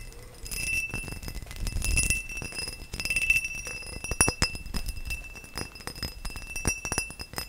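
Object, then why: Cut crystal glass vase. A tall, hollow, empty cut-crystal glass vase is tapped with fingernails and fingertips in quick, uneven runs. Each tap gives a bright glassy click with a short, high ring. A faint steady tone hums underneath throughout.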